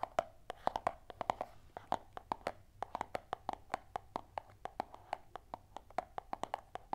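A small, closed, hollow white cardboard earphone box, held in both hands, is tapped with long nails and fingertips. The result is a rapid, irregular run of dozens of dry, hollow clicks and taps with a mid pitch of about 730 Hz and bright transients. Each tap stops almost instantly, with a faint soft rustle between them.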